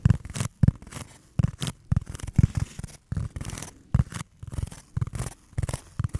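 A fingernail scratches and rubs across the surface of a solid, rectangular black foam block held close to the mic. Quick, dry scratching bursts repeat in an uneven rhythm, each with a soft, muffled low thump and a brief bright scrape that dies away at once.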